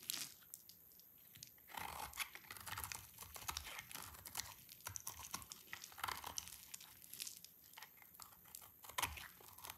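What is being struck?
Soap bar shaved with a knife blade.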